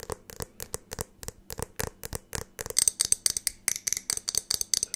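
Long acrylic nails tap and click quickly on the walls of a medium clear glass jar with a lid as it is held up and turned. The result is a fast, dry run of sharp, bright clicks with almost no ring, growing louder and denser in the second half.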